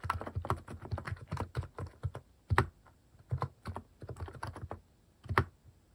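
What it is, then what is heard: Mechanical keyboard typing. Fast fingertip typing on a compact Hanmumu mechanical keyboard with cat-shaped plastic keycaps. It makes quick, uneven bursts of short, deep, thocky key clacks with a bright edge. A few harder strokes stand out, and there are brief pauses between runs.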